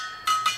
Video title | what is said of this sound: Rebuilding Spoke Motorcycle Wheels 3/3 | they'll have like a high ring to them there's anything that sounds dull you may have a loose spoke